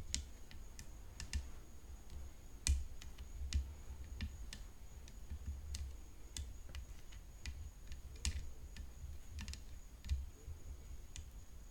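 Long fingernails tap continuously on the frame of a tennis racket, producing crisp, short clicks with bright tops that die away almost instantly. The taps come at an irregular pace, a few landing harder than the rest, over a low, steady rumble and a faint constant high tone.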